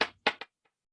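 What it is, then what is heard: Rock knocked to make noise. A hand-held rock is knocked three times, giving short, sharp, bright clacks that die away quickly with almost no low end. The first two knocks are the loudest, the third is softer, and silence follows.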